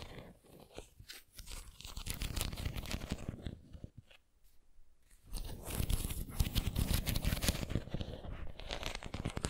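Long nails scratch and tap across the textured surface of a white ceramic pineapple figurine held upright. The result is a dense, crackling run of scratches and clicks with a strong low-end body. It dips to near silence for about a second and a half midway, then resumes louder and brighter.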